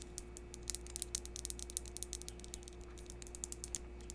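A small, solid, rough yellow translucent crystal chunk is held in the hands close to the microphone while long pink acrylic nails tap and scratch its faceted surface. The result is a rapid stream of sharp, bright clicks with very short decay, sitting over a steady low hum.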